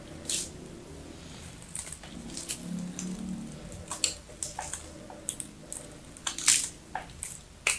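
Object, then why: Bar of soap scraped with a knife blade. A knife blade repeatedly scrapes and chips cubes off the scored surface of a small, solid, blue-and-white striped bar of soap held in the hand. A series of sharp, bright, crumbly crunches and clicks rises over a quiet, hissy background, with a faint low rumble early on and the loudest chips near the end.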